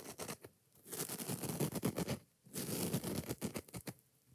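Long nails rapidly scratch the green scouring pad and tap the yellow foam of a kitchen sponge, making a dry, rasping scrape mixed with soft, muffled taps. The sound comes in two fast, busy bursts separated by a brief quiet pause, with each stroke dying away almost instantly.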